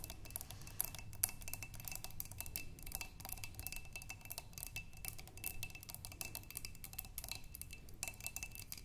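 Long pink nails tap rapidly on the walls of a clear glass vase partly filled with water, with tulip stems inside. The taps are quick, bright, clicky ticks that die away almost instantly, over a steady low rumble and a faint constant tone.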